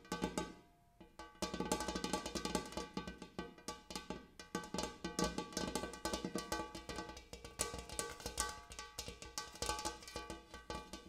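Fingers tap rapidly across a large metal bowl used as a coffee table, producing dense, bright metallic taps with bell-like ringing tones over a low hum. The tapping runs almost continuously, pausing briefly near the start before resuming at a steady, busy pace.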